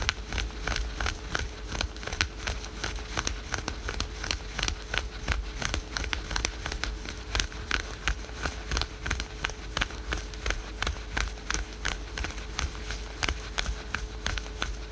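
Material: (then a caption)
Spandex. Fingertips and nails scratch fast at printed black-and-white stretchy synthetic spandex yoga leggings near the knee of a bent leg resting on a sofa. The result is a rapid, irregular stream of short, bright, crackly rasps, about three per second, over a steady low rumble and a faint constant tone.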